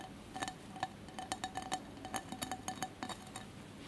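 A single hand's fingertips and nails tap and scratch the cracked-glass surface of a small cylindrical mosaic glass candle holder with a lit candle inside. About 16 bright, irregular clinks ring briefly around 750 Hz over a soft, steady background hiss.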